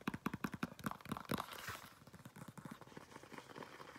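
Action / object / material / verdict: tap / faux leather flat shoe / faux leather / none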